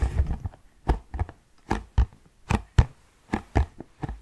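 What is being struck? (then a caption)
Cardboard tissue box. Fingertips tap on the flat faces and side of a medium-sized, hollow orange Kleenex cardboard tissue box held in both hands. About a dozen soft, dull, low thumps come in an uneven rhythm. Each one is short and dry, with almost no ring.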